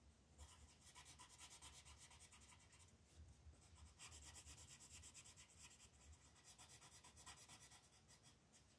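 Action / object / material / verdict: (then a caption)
scrape / colored pencil rubbed over a paper page / paper / none. A red colored pencil is rubbed in fast strokes over the letters on a flat paper coloring book page. It makes dense, bright, scratchy rasping in quick rhythmic strokes with a soft low rumble underneath, arriving in three runs separated by brief pauses.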